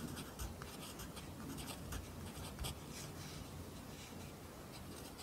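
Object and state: Pencil writing on a paper notebook.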